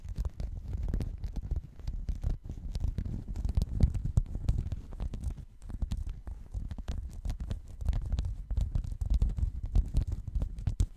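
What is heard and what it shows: A checkered woven textile mat is held around the microphone and scratched with fingernails. The result is a dense, continuous run of muffled, rumbling scratches, heavy in the low end with only faint brighter flicks, swelling and easing in loudness throughout.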